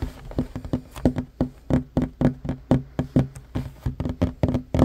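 Both hands' fingertips and short nails tap quickly on a flat, solid wooden table top. About two dozen dull, hollow knocks land in an uneven, rolling rhythm. Each knock has a low woody thud that dies away almost instantly.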